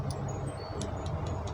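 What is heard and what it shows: A hand-carved raw jadeite Ganesha statue is tapped to show it is real, hard jade rather than resin or plastic. Short, bright, glassy ticks ring out over a steady low hum. The hard, ringing clicks mark it as genuine jade.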